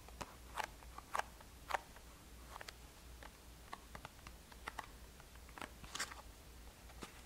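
Long nails tap and scratch a small black and green Boscia cardboard box. The result is an irregular series of quiet, sharp, dry clicks and crackly scrapes, a few louder than the rest, with bright edges. Under them runs a steady low hum.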